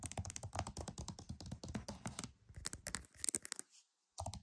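Fingernails tap rapidly on the front cover of a flat, hollow plastic PS5 game case. The result is a quick, dense patter of dry, crisp clicks with a soft hollow thump beneath and bright edges, each tap dying out instantly. The tapping thins out, falls silent for a moment, then picks up again briefly at the end.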